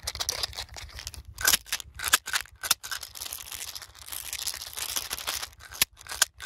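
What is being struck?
Small plastic pill bottle with cap.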